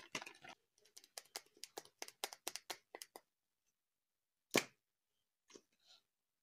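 A small, solid, cylindrical plastic glue stick with a white cap and a blue-yellow label is held in one hand and tapped with the fingertips and nails of the other. A quick run of short, dry, bright clicking taps fades fast. After a pause comes one louder tap, then two faint ones.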